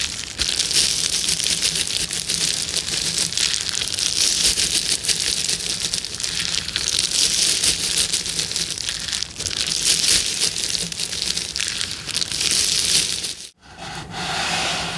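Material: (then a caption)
Plastic. Long nails and fingertips scratch and rub a clear plastic bubble wrap sheet with hollow air bubbles, making a dense, bright crinkling and scratching that runs steadily with little low end. Near the end the sound cuts out briefly, then returns as a softer, duller rustle.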